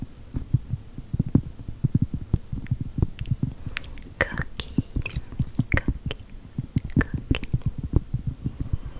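Long gel nails tap and scratch a large, thin, solid round cork board printed like a chocolate chip cookie. Rapid, dense, muffled low thuds dominate, with short, brighter scratching clicks scattered over the top. Each tap dies away almost instantly, leaving a soft, quick patter.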